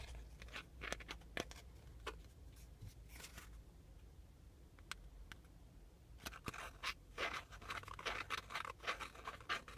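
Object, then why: Small flat cardboard air freshener. A small, flat, shield-shaped printed cardboard car air freshener, thin and solid and hanging on a string, is scratched and tapped with fingertips and nails. Quiet, dry, bright scratching alternates with short, sharp taps that stop almost at once, over a low steady hum. The strokes grow denser and livelier toward the end.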